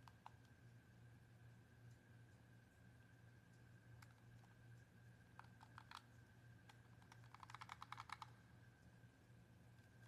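Fingertips tap and press the face buttons and hollow shell of a handheld white plastic Xbox controller, its back battery cover open. Scattered sharp, dry plastic clicks give way to a quick rattling burst of presses around the eighth second. A steady low hum and a faint constant mid tone run underneath.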